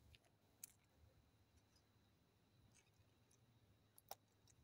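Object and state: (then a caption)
Plastic toy capsule. A small hollow yellow plastic toy ball capsule with a football pattern, held in one palm over a pile of untouched Kinder Joy eggs, is handled, tapped and clicked with the fingertips and nails of the other hand. Quiet, bright, short plastic clicks stand out sharply near the start and near the end, with soft handling rustle and a low background rumble in between.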